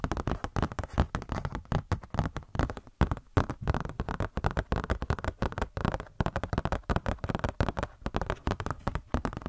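A glossy paper Blizzard Shop catalog booklet is handled and scratched with long nails, producing a dense, continuous run of quick scratches and crinkles over the whole clip. The sound sits mostly in a soft, low register with little bright content, each stroke dying away almost at once.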